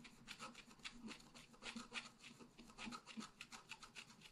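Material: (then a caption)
Coated paper. A wooden stylus scratches the flowers on the right side of a thin scratch art paper sheet lying flat. The result is a quiet, dry, raspy run of short scratching strokes that are bright and hissy, with a faint low hum underneath.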